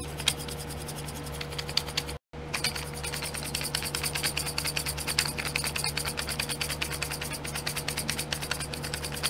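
A fingernail scratches and taps the lids of small clear domed plastic glitter pots sitting in a pink plastic tray. Dense, rapid, bright clicks and scratches run almost continuously over a steady low hum, broken by a brief silence near two seconds.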